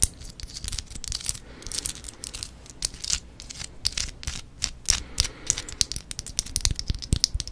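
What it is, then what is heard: Artificial plastic succulent. A fist-sized fake green succulent rosette, likely plastic, is held close and scratched across its leaves with long nails. Quick, bright, crisp scratching clicks and rustles come in dense irregular bursts, with quieter scraping in between.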